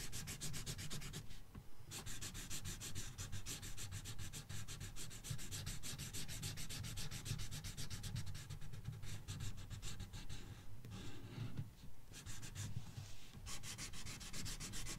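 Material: Paper.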